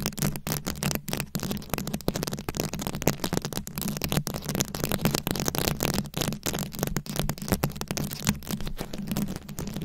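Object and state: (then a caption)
Rhinestone-covered microphone being scratched. A fist-sized microphone head fully covered in small round rhinestones, likely plastic, is scratched and tapped with very long acrylic nails. This makes a dense, continuous stream of rapid crackling scratches and sharp clicks, bright across the top, over a steady low hum.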